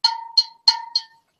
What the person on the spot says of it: they have a different sound when you tap the bottle it's almost like a chime